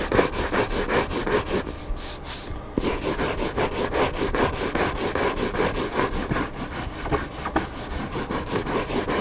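Fingertips and nails scratch and rub the cardboard back cover of a hardcover book lying flat with its white printed back cover up. Rapid, steady, dry scratching strokes repeat about two or three times a second, with a brief quieter pause near the two-second mark before the rubbing resumes.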